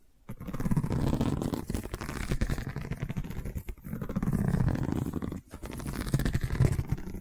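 Long nails scratch along a long cylindrical woven seagrass tube covered in a woven straw weave. The result is a dense, low, rumbling rasp in three sustained stretches separated by brief pauses, with little high-end brightness.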